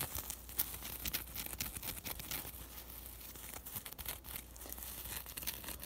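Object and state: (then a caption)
Fabric lavender sachet. A small burlap-like cloth sachet filled with dried lavender and tied with ribbon is scratched and squeezed by long nails. The result is a dense stream of crisp, crackly scratches and rustling crinkles with a low steady hum beneath.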